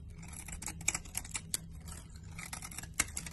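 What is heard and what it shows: A solid green laundry soap bar held in the hand is sliced and scraped with a blade. A quiet series of short, crisp cutting and scraping clicks with a bright, dry edge sounds over a low, steady rumble, each click dying away almost instantly.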